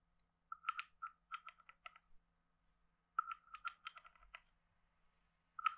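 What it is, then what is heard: Wooden frog guiro. A wooden stick is scraped along the ridges of a hand-sized hollow carved wooden frog guiro and tapped on it. It makes quiet, dry, clicky rasps with a woody tone centred around 1.3 kHz and brief bright edges, in two clusters with a pause between them, then a final sharp tap. Each click dies away almost instantly.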